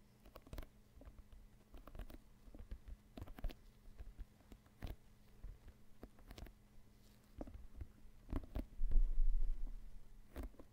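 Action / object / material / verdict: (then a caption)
tap / inflated synthetic leather soccer ball / synthetic leather / none. Fingers and nails scratch and tap the synthetic leather surface of a full-size, inflated, hollow soccer ball held close to the microphone. It makes a quick, uneven run of soft, dull, low thumps with faint scratchy texture, each dying away almost at once. The tapping grows louder and denser near the end.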